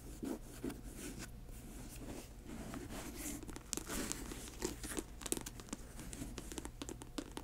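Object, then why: Patent leather sneaker. Long nails scratch the laces and tap the glossy upper of an empty grey patent leather high-top sneaker. Dry, crinkly scratching runs throughout, punctuated by sharp, quick clicks over a faint low hum.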